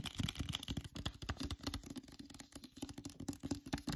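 Fingernails tap and scratch the front and back covers of a hardcover copy of "Rise of the School for Good and Evil" with a glossy paper dust jacket. The result is a quick, steady run of soft, dull taps with a faint pitched knock, mixed with dry scratching across the slick jacket. Each tap dies away almost instantly.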